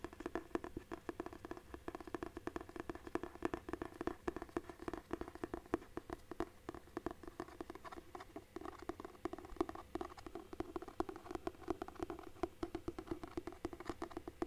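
Fingertips tap rapidly and continuously on the cardboard cover of a large, solid hardcover book with paper pages. The taps are soft, dry and quiet, with a dull low-mid thud that dies away almost instantly.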